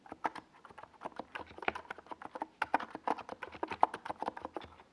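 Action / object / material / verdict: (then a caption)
tap / plastic mechanical keyboard with SA keycaps / plastic / none. Fingertips of both hands type on a compact 68-key NiZ Plum Atom 68 plastic mechanical keyboard with a white plastic case and tall purple-and-yellow Domikey Gas Attack SA plastic keycaps, resting on a desk pad. It produces a steady stream of quiet, dry, mid-pitched clacks centered around 870 Hz, each one short with almost no ring.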